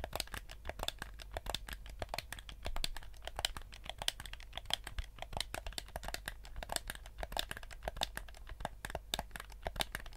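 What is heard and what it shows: Fingertips rapidly tap and scratch the sides and buttons of a black PS4-style plastic gamepad with a hollow shell. The result is a dense stream of short, dry, bright clicks and crinkly scratches with almost no ring, over a steady low hum.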